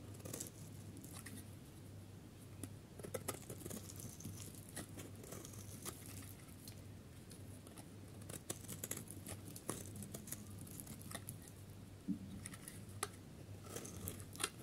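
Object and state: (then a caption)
Dry soap bar being shaved. A solid pale yellow dry soap bar is held in hand while its edge is shaved with a utility knife blade. Dry, crackly scraping and many sharp little snaps and flakes break through a steady low hum for the whole clip, with the bright clicks bunching into denser runs toward the middle and end.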